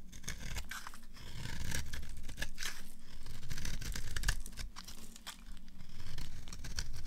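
A dry, solid beige rectangular bar of soap, held in the hand, is carved and scraped into crumbs with a green-handled utility knife. Quick, irregular scraping strokes make dry, crackly tearing sounds over a steady low rumble.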